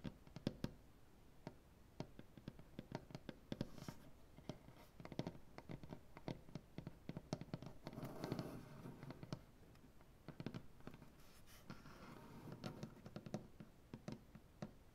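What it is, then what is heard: Solid maple tabletop. Both hands tap fast on a solid maple butcher block tabletop with black-painted nails. The taps are quiet, short and dry, with almost no ring, and most of their weight sits in the low range. A few brief, noisier stretches break up the patter near the middle and later in the clip.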